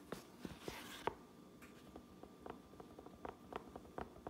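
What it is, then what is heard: Fabric trucker cap. Long nails scratch and tap a fabric trucker cap, first on its grey inner lining and white tape, then on the red stitched brim outside. Soft scratching gives way to about ten quiet, dry taps that die away almost instantly, with a faint hiss between them.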